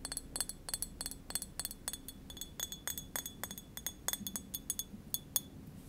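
A small, hollow green glass wine bottle with a paper label and screw cap is held in the hands and tapped with long fingernails. A quick, steady series of short, bright glassy clinks rings out, each one dying away almost instantly with a faint high ring.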